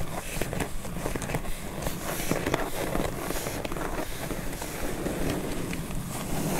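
Long metallic-painted nails tap and scratch the top of a medium, closed corrugated cardboard shipping box that is taped across the top and lying on a fluffy rug. A steady run of crackly scratching is dotted with short, dull taps, with a heavy low rumble underneath and only faint high detail.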